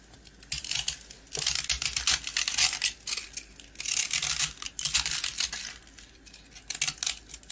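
A box-cutter blade scratches and cuts into a small, partly carved, coated round rusk, its dry, crumbly bread crunching as crumbs fall. The sound is a run of bright, dry, irregular scraping bursts separated by short quiet gaps, with almost no low end and no ring after each stroke.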